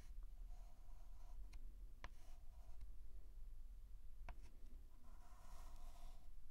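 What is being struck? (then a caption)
Chalk stick on a blackboard. A white chalk stick is dragged in short strokes across a large flat blackboard, producing quiet scratchy strokes with a faint squeaky tone. A few sharp taps of the chalk cut through, over a steady low hum.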